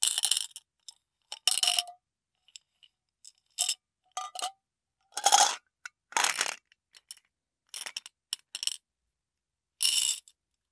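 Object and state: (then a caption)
Glass jar of small beads being shaken. A clear glass jar with a metal lid, holding small purple beads, is tilted and shaken by hand so the beads slide and rattle inside. The result is a series of short, bright, crackling rattles and clinks separated by silent pauses, with almost no low end and only brief ringing.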